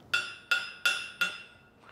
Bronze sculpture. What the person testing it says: That sounds hollow, but clearly, judging by the X-ray, it is not.